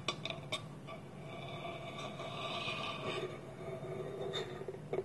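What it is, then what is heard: Wooden bowl with lid. Fingertips and nails tap a small, round, hollow, polished wooden bowl, empty, with its wooden lid held tilted against it. Several short, dry knocks at the start and end frame a steady, hushed rubbing of the wood in between. The taps ring a bright woody tone around 1.1 kHz that dies almost at once.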